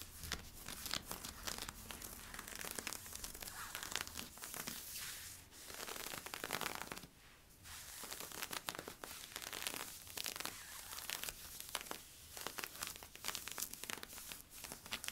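Fingertips and nails scratch along the side stripes of worn camo polyester-spandex stretch leggings, producing dense, bright rasping and crinkling strokes. The scratching runs nearly continuously, with short quieter gaps near 5.5, 7.5 and 12 seconds.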